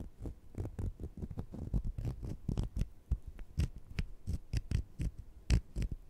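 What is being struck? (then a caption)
Sugar-coated jelly candies. Two small, solid sugar-coated jelly fruit-slice candies are held in the fingertips while one scratches against the other. This produces a quick, uneven series of soft, dull scraping strokes that are mostly low and muffled, with occasional brighter grainy edges. Each stroke stops dry with no ring.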